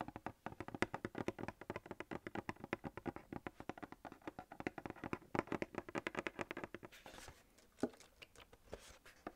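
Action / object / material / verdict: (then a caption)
tap / coated paperboard milk carton / paperboard / none. Fingernails rapidly tap and scratch the sides of a hand-held, coated paperboard gable-top milk carton of about 1 L. A dense run of quick, dry, short taps with a hollow papery tone fills most of the clip, then it thins into sparser taps and soft, bright scratching toward the end.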